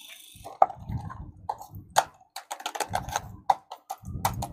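A red and yellow hollow plastic toy car with black and yellow wheels is held close to the microphone and tapped with fingertips and nails. The result is a quick, irregular series of sharp, hollow plastic clicks and taps with very short ring, with soft low rubbing and rustling between them.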